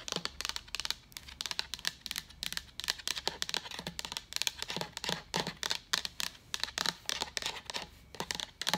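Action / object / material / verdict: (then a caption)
tap / hollow plastic pitcher / plastic / none. A hand-sized, hollow, seemingly empty translucent white plastic water pitcher with a pink lid and handle is held and tapped and scratched with long pointed acrylic nails. The result is a steady run of quick, dry, bright clicks and scratchy scrapes with almost no ring and very little low end.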